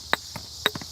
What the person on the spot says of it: This is like shale, and when you hit it, it's kind of a dull sound.